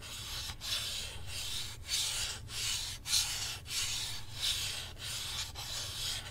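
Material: Plastic.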